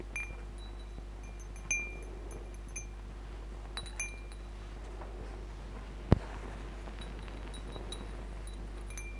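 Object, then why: Metal tube wind chime with glass beads. Fingertips and nails stroke, brush and tap a wall-hung wind chime of hollow aluminium-look metal tubes on a metal bar, with small glass crystal beads strung between the tubes, so the tubes and beads swing and clink. Soft, sparse bright chime tones and light glassy clinks ring out over a steady low hum, with one sharper, louder tap standing out near the middle.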